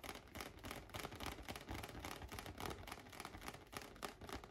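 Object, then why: Inflated latex balloon. Fingertips and nails tap rapidly and irregularly on a large, light-blue, air-filled latex balloon held on a lap. The result is a quiet, steady stream of hollow, drum-like thumps with a low resonance around 414 Hz and bright, clicky nail edges that die away almost instantly.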